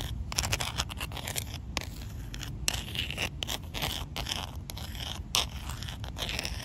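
The black rounded end of a handle, probably a makeup brush handle, taps and scrapes across a large, solid, rough outdoor concrete slab. Quick, dry, gritty scratches and sharp little taps come in fast, uneven bursts with a bright, hissy edge over a low rumble, and each one stops almost at once.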